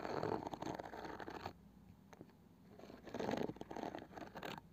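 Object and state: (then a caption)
Small round wooden box with woven cane side. Long painted fingernails tap the flat, light wooden lid of a palm-sized round wooden box with a woven cane side band, probably hollow, and scratch along its edge and woven side. Dense, dry clicking and scraping fill the first second and a half, fall to a quiet stretch with a few soft taps, then return in a louder burst of quick scratches and taps. The sound has a low-mid body with short, crisp hits.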